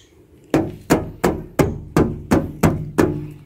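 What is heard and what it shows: Knuckles knock eight times on the right rear passenger door of a 2010 Isuzu Panther LV 2.5 Turbo. Each knock is a solid, dull thud with a low-mid body and a short decay. The door panel is all steel with no plastic parts, hard enough that the knocking hurts the knuckles.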